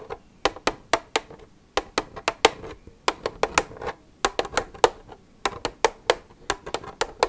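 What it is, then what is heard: Empty plastic milk jug. Long red nails scratch and rub the side of an empty, hollow white plastic milk jug, producing about two dozen quick, sharp clicks and taps in an uneven rhythm. Each tap has a bright, crisp attack and a short hollow mid-range ring, with soft scratchy rubbing between hits.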